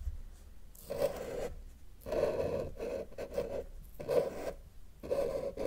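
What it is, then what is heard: Marker drawing on paper. A felt-tip marker held in the fingers is dragged across a flat white paper sheet on a table with a solid surface, drawing lines. Its strokes come as a series of short, dry scratching rasps with a mid-pitched squeaky tone around 520 Hz, separated by brief pauses.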